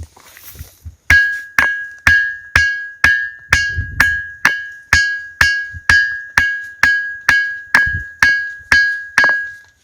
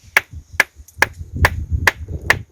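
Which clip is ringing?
The first.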